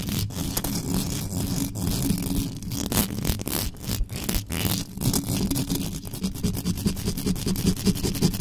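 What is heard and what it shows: Long yellow nails on both hands scratch fast and hard across the hollow mesh grille of an uncovered black metal USB microphone. The result is a dense, continuous scraping and rasping with a heavy, boomy low end and quick, closely spaced strokes that barely ring after each pass.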